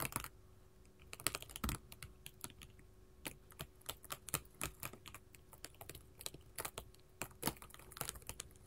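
Long pointed gold metal filigree finger-claws worn on both hands tap a solid, flat sheet of small square glass mosaic tiles in pink, orange, yellow and clear lying on a table. The result is an uneven stream of quick, sharp, bright clicks, some in rapid flurries, each dying away almost instantly over a faint low hum.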